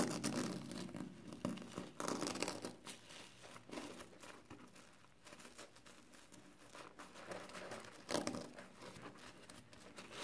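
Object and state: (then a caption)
Foam kitchen sponge with scouring pad. Fingers rub and scratch the green abrasive side of a soapy, hand-sized yellow and green foam kitchen sponge with a scouring pad, and squeeze the foam. The sound is a quiet, irregular run of wet crinkling, crackling and scratchy rasps, with louder bursts near the start, around two seconds and just after eight seconds.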